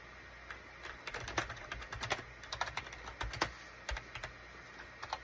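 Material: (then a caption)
Plastic. Fingertips type and tap on a full-size gray and beige SHIPADOO K600 wired USB keyboard with hollow plastic keycaps. An irregular run of quick, bright plastic clicks and clacks is heard, each dying out almost at once over a low, steady background hum.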